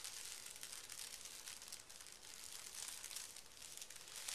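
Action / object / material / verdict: scrape / sheet of thin tissue paper / paper / none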